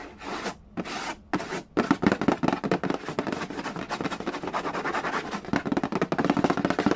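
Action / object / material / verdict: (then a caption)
scrape / cardboard board game box / cardboard / none. Fingernails rub and scratch the lid of a hollow cardboard Yahtzee board game box near its bottom edge. It opens with three short, separate rasping strokes, then becomes a dense run of quick, dry scratches and taps. The sound is papery, with a hollow low body and bright, crisp edges.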